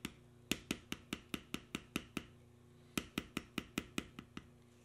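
A steel beveler held in the fingertips is tapped along the knotwork carving lines of a solid tan veg-tan leather panel resting on a stone surface, compressing the leather. Eighteen short, dry, bright taps sound in two quick runs separated by a brief pause, each dying away almost instantly over a faint steady low hum.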